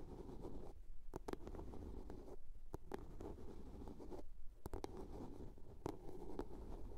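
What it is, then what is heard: Plastic soap box. Long polished nails scratch and tap a small, hollow blue plastic soap case with a lid that rests on a fur rug. Soft, muffled scratching rumbles low and steady, broken by brief, sharp clicks of taps that ring out bright and vanish at once.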